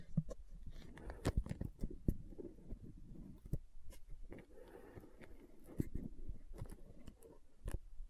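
A translucent green plastic aloe gel tub is tapped and scratched along its side with long nails. Quiet, dry clicks and soft scraping rustles sit mostly low and dull, with a few sharper taps standing out among the busy, uneven patter.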